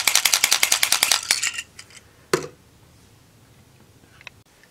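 A dark grey plastic Watch Full Bottle toy, with its cap twisted, is shaken rapidly for about a second and a half. It gives a bright, clinking rattle of quick, closely spaced hits that fade out. One sharper clack follows, then near silence.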